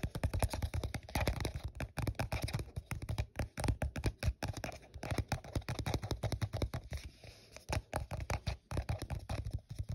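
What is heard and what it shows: Fingers tap and scratch the side of an empty, hollow, translucent printed plastic cup held in the hand while the cup is turned. The result is a steady run of quick, dull, low-heavy taps mixed with dry scratching, each hit dying away almost at once.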